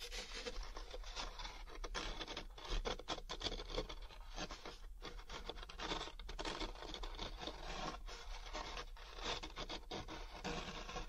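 A large, thin, hollow molded paper pulp packaging tray is held up in one hand while the fingers and nails of the other hand rub and scratch its textured surface. The result is a steady, dense stream of dry, papery scratching and rasping that stays bright and broadband throughout, with brief pauses between strokes.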